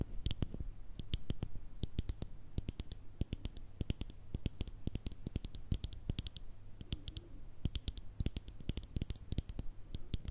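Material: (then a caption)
Glass, plastic. Long red nails tap quickly and unevenly on the black plastic screw lid and clear glass sides of a small round cosmetic cream pot. Each tap is a short, sharp click with a bright, high edge that dies away almost at once. A steady low hum runs quietly underneath the whole time.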